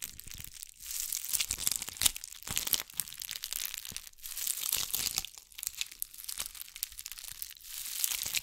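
A bugle-bead covered ball cupped in both hands is scratched with long acrylic nails. It gives a dense, crisp rattle of bright clicks and crinkling with almost no low end. The scratching swells and fades in waves throughout.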